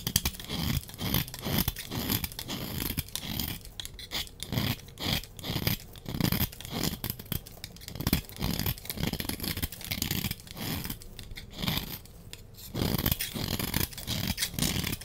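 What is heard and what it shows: A small metal blade is scraped repeatedly across a solid, rounded, palm-sized yellow bar of soap held in one hand, shaving off thin curls and crumbs. Each stroke makes a short, dry, crunchy scrape with a soft low body and a bright, hissy edge, following one after another in a steady rhythm.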